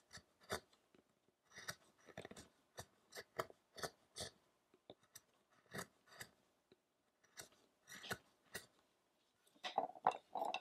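A small metal chisel, held in the fingertips, scrapes and cuts the surface of a solid, light carved wooden statue block whose back side is still rough-hewn, while the other hand holds the block. About 23 short, dry, crisp cuts and scrapes come at an irregular pace with quiet gaps between them, each stopping almost instantly with no ring. Toward the end the strokes bunch together into denser scraping with a slight tonal edge.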